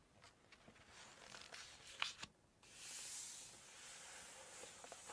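Long nails scratch and rub across the glossy paper pages of an open cookbook, and the pages are handled. Soft, bright, papery scrapes and light taps rise to a sharp crackle near two seconds. A brief quiet follows, then a steady, hissing rub across the page.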